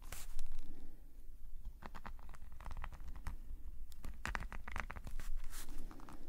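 A metal nib pen scratches small strokes across a black paper sketchbook page lying flat. A series of short, dry, bright scratching strokes comes in quick irregular bursts over a steady low rumble.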